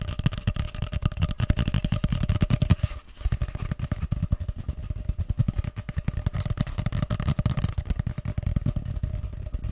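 Fingertips tap and drum along the surface of a long, hollow, empty grey cardboard tube, first held upright behind the microphone and then horizontally in front of it. The result is a rapid, steady stream of soft, hollow, bassy thumps with a low resonant body and a faint ringing tone. There is a brief pause near the three-second mark before the drumming resumes.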